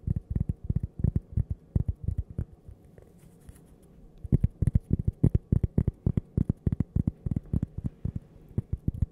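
A thin, flat, solid toast-shaped cork coaster, held up close to the microphone, is tapped and scratched with long purple-painted nails. Quick bursts of dull, low, very short taps come with a quiet scratchy stretch in the middle. The tapping then resumes in a steady, rapid run.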